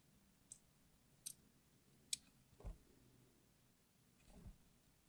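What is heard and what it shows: A small craft knife blade scores the surface of a palm-sized, solid red translucent bar of hard soap held in the hand, with other soap bars sitting idle nearby. Three sharp, bright, scratchy clicks are followed by two softer, duller scraping strokes, all very quiet against a faint low background.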